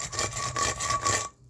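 A hammer is scraped back and forth across a concrete block in repeated rasping strokes, giving a gritty, filing-like scratch with a thin high ring. The test checks whether the block crumbles easily, which would mean too much sand and too little cement. This block holds up fairly well and passes the scratch test.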